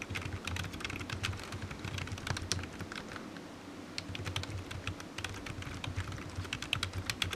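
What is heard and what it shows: A black plastic computer keyboard resting on a patterned mat is typed on with the fingertips of one hand. Quick, bright key taps click in a steady, irregular stream, each dying away almost instantly, over a constant low hum.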